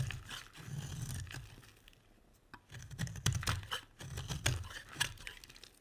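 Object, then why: Bar of soap scraped with a metal blade. A metal utility blade shaves and scrapes a dry, solid, round, red-striped soap bar. Bursts of crisp crumbly scraping and crinkling alternate with short pauses, set against a low rumbling body and sharp bright clicks as the blade bites in.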